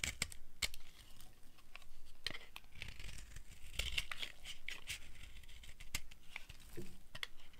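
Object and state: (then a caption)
Dry soap bar scraped with a blade. A solid tan dry soap bar held in the hand is scraped with a flat blade, giving dry, crunchy tearing and crinkling scrapes with sharp bright clicks throughout. The shavings come off the bar in quick, rough strokes over a low rumble.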